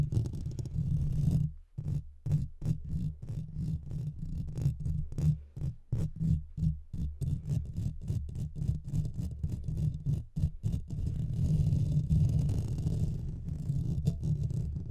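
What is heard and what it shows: Fingertips and nails of both hands scratch the sides of the hollow metal mesh grille on a Blue Yeti microphone. The result is a dense, low, boomy rumble of rapid, uneven strokes broken by brief silent gaps, with almost nothing bright above it.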